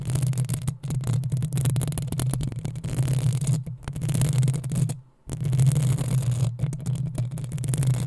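Long nails scratch the sides of the hollow metal mesh grille on a black desktop microphone. The result is a dense, continuous low rumbling scrape with a steady hum-like drone, broken by a few brief pauses, most noticeably just past the five-second mark.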